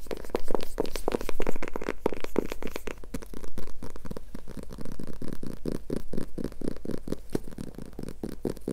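A small silver glitter-covered hardcover notebook with a cardboard cover is held upright in both hands and tapped and scratched with long nails across its textured glitter surface. Quick, dense clicks and dry scratches run in a busy, irregular stream over a low, steady hum. The hits are too closely packed to count.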